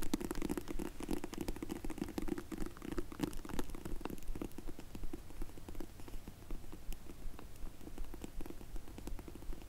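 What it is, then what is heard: Faux leather glasses case. Long nails tap rapidly on a closed, dark grey faux leather hard case for Zinff sunglasses held in the hands. The result is a quick, uneven stream of soft, dull taps with a muffled low thump beneath and faint crackly clicks, each dying away almost instantly.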